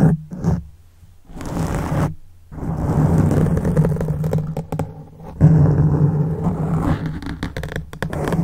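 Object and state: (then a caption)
Foam microphone windscreen being scratched. Fingertips and short nails of both hands scratch and rub a soft, porous black foam windscreen on a silver microphone. The result is a close, muffled, low rumbling scrape, heavy in the bass around 160 Hz, with almost nothing bright. It comes in uneven bursts with brief quiet gaps near the start and around two seconds, then continues in steady rubbing surges.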